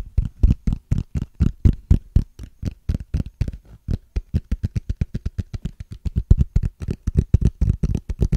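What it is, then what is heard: Clear ridged plastic case. Fingernails scratch and tap along the ridges of a small, clear, hollow plastic case with a ridged transparent surface. About forty quick, dull taps follow in a fast, uneven patter of roughly four per second. Each tap is a soft, low-pitched thud that stops dry with no ring.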